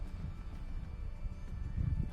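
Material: Nothing is struck.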